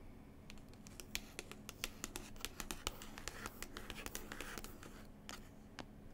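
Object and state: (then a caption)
Paper book cover scratched with nails. Long pointed nails scratch across a paper cover of the same New Zealand book, making a quick run of crisp, dry scratches and sharp clicks over a faint steady low hum.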